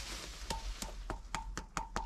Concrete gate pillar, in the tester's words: that stone pillar, it's actually concrete. You see, it does sound hollow.